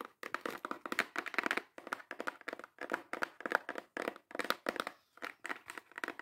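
Long acrylic nails tap and scratch fast and hard on a small, hollow brown kraft cardboard box. Rapid bursts of dry, crackly clicks and scrapes come in quick clusters with brief pauses between them, bright and papery with no low end or ring.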